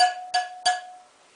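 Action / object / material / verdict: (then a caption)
tap / steel motorcycle wheel spoke / steel / tight. A tight steel spoke on an RM 125 motorcycle wheel is tapped three times with a wrench, each strike giving a clear metallic ring at about 727 Hz with bright overtones. The ring lingers and fades after the last tap, and the spoke is judged good.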